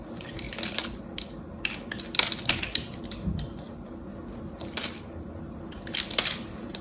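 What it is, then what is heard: Soap bar being shaved. A small, solid, rectangular soap bar with a gold-painted embossed surface is held in one hand and shaved and scraped with the blade of an orange utility knife, its flakes falling onto a blue cloth. The sound is a series of crisp, bright scraping clicks and short rasping strokes with almost no ring, over a quiet background.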